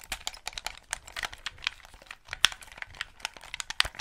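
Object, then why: Plastic game controller. Fingertips click the buttons and triggers and tap the hollow plastic shell of a white Xbox 360 gamepad held close to the mic. The result is a quick, irregular stream of dry, bright clicks and light taps with a crinkly texture, very little low end, and no ringing after each hit.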